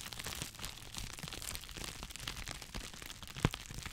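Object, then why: Plastic bubble wrap. Two hollow, hand-sized cones of clear plastic bubble wrap are squeezed and crinkled with the fingers near the microphone. A steady, dense crinkling and crackling runs throughout, with a sharper snap standing out near the end.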